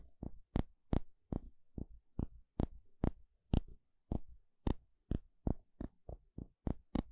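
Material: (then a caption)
Wood. A thin plastic pick taps and pokes the surface of a thin, flat, solid wooden spatula held edge-on, making 18 short, dry taps at a quick, uneven pace. Each tap has a soft, low thud with a bright click on top and dies away at once with no ring.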